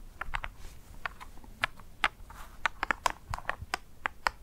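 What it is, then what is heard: Dry ice pellet. Black plastic claw tips on garden gloves tap and scratch a single small, solid dry ice pellet (frozen CO2) resting on dark fur. The result is a quick, uneven series of sharp, dry clicks and ticks centered around 1 kHz with bright edges, each dying out almost instantly, over a faint soft rustle.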